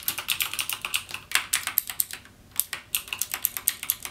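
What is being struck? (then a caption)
Mechanical keyboard with plastic keycaps. Fingertips type on a backlit mechanical keyboard with plastic keycaps and Cherry MX Blue switches, producing a rapid run of about 27 sharp, bright clicking key presses. The clicks are crisp and dry with almost no ring or low end, and there is a brief pause in the middle before typing resumes.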